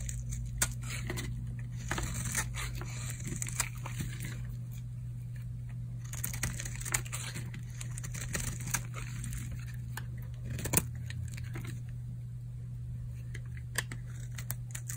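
A solid purple oval bar of old, dry soap is held in the palm and carved with a utility knife blade, shaving off flakes. Crisp, crunchy scraping and crackling cuts, with bright, sharp peaks, sit over a steady low hum.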